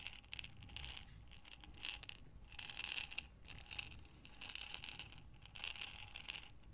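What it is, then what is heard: Glass jar of buttons. A glass mason jar with a metal lid, full of small buttons, is rotated and tilted in both hands with long nails. The buttons rattle and clatter inside in repeated bright, crisp bursts, separated by brief quieter pauses.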